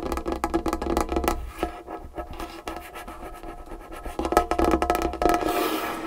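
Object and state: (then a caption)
Wooden table. Long fingernails scratch and rub across a large solid dark-wood tabletop, producing fast, uneven bursts of dry scraping and light tapping. The sound comes in close, rough strokes with a brief lull in the middle before it grows busier and louder again.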